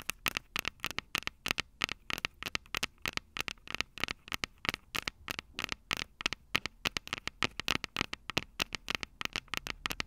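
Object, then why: Metal and plastic recorder microphone capsules. Long purple nails tap and scratch the two silver metal mic capsules on the plastic body of a Tascam DR-05 handheld recorder. Around fifty quick, dry clicks and ticks sound in a steady, irregular stream, each bright and sharp with almost no ring, over a faint hiss.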